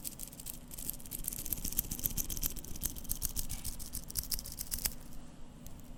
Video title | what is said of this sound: ASMR - Seiko SBDC053 Watch Sounds (Whispers, Tapping, Scratching, and Turning) | Now the bracelet is jingly, just a bit. However, it's a very dense sounding jingly sound, which is quite interesting.